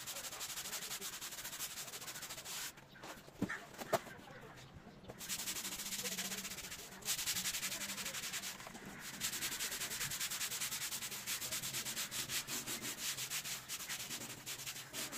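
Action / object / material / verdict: scrape / wet synthetic carpet rug / synthetic fibre / none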